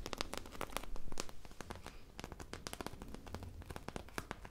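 A foam popsicle squishy toy with a beaded sprinkle surface is held in both hands and scratched and squeezed close up with long nails and fingertips. Dense, rapid crinkly clicks and crackles sound over a low, soft rustle, loudest around the first second and then settling to a quieter, steady scratching.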